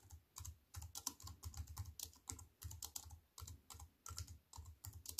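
Fingertips with long white-painted nails type on a slim wireless keyboard with a silver aluminium frame and black plastic chiclet keys, resting on a wooden table. Quick, dry key clicks with bright tips come in uneven bursts over a low thump from each press. No count is given because the presses run together in clusters.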